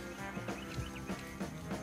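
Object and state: Nothing is struck.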